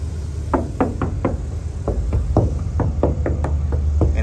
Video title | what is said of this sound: 1962 GMC Panel Truck - SOLD | there's no bubbles and it sounds like metal